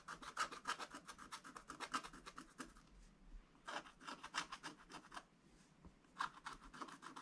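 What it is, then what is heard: Scratch-art paper being scratched. A wooden stylus scratches quick, short strokes across a black coated scratch-art page in a spiral book, etching out a tractor. Rapid dry, raspy scrapes with a bright hiss come in three bursts separated by brief quiet pauses.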